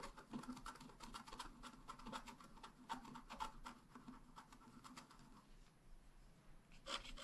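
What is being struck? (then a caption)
Wax-coated scratch art card scratched with a wooden stylus. A wooden stylus scratches lines into a flat black wax-coated scratch art card, working on the bicycle and handlebar area. The clip is a quiet, steady run of short, dry scratching strokes, each a brief rasp with bright, hissy edges, and a louder flurry of strokes comes near the end.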